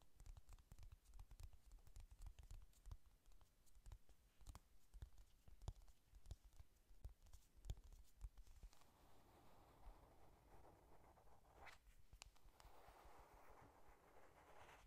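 A flat pink "Honey Lust" eyeshadow palette with a printed cardboard cover, held closed in both hands, is tapped quickly with long nails in a stream of short, dry, dull clicks. About halfway through, the tapping gives way to soft, continuous scratching across the cardboard, a quiet papery rasp. Everything stays low in level and close-sounding.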